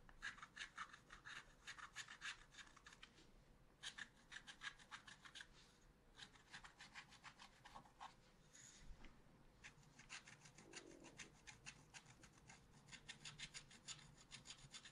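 A wooden stylus rubs and scratches across a small spiral-bound pad of black-coated scratch-art paper held flat. It makes quiet, rapid, bright scratchy strokes in dense runs, broken by short pauses. The strokes are dry and brief, with almost no ring and little low end.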